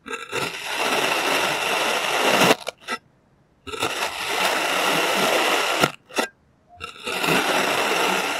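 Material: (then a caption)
Kinetic sand. A clear plastic serrated knife slices thin layers from a molded, solid green kinetic sand shape. Three long, gritty, crackling scrapes run through the cut, each separated by short crumbly bursts and brief silences.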